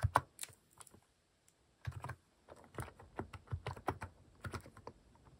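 Fingertips type quickly on a compact plastic mechanical keyboard fitted with cat-shaped plastic keycaps. Fast bursts of crisp key clacks with a low thock come in clusters, separated by brief pauses.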